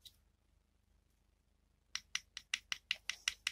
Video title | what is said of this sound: Подшипники, как смазать правильно, с подробностями/Bearings, how to grease properly, with details | bạn nghe thấy đây là nhựa